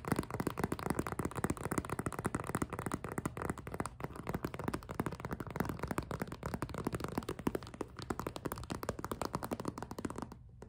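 An empty, hollow clear PVC zippered cosmetic pouch with pink trim is gripped and tapped with long nails up close. The result is a dense, steady stream of quick plastic taps and crinkly rustles, mostly low and mid in tone with little brightness. It drops to near silence in the last half second.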